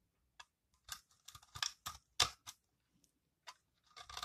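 A metal blade with a yellow handle scrapes across the flat face of a solid green dry recycled soap bar held in hand, shaving off crumbly soap curls. About nine short, dry, crunchy scrapes sound bright and crisp, each stopping almost at once, with quiet gaps between them and a quicker run of scrapes at the end.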